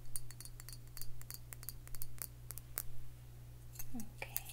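Long fingernails tap a round glass liquor bottle with a metal cap, filled with dark liquid, while it is held in the hand. Quick, bright, dry clicks and light clinks come in an uneven run, each dying away almost at once, over a steady low hum.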